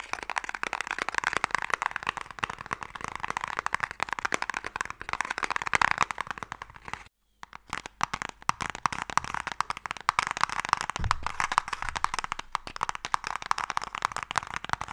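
A closed, long, hollow wooden box marked MIKADO is held in both hands while fingertips and nails tap quickly on its face. The result is a dense stream of dry, crisp clicks and taps centered in the mid range with a bright edge. The tapping pauses for a brief silence around the midpoint before resuming.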